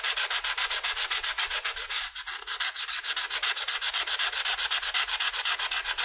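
A red felt-tip marker is scrubbed in short, quick strokes across the lower left wing of a butterfly on a flat white paper coloring sheet resting on a table. About 38 dry, bright, scratchy rubs follow in a fairly steady rhythm of roughly four per second, with a brief softer stretch just after two seconds. Each stroke fades almost instantly.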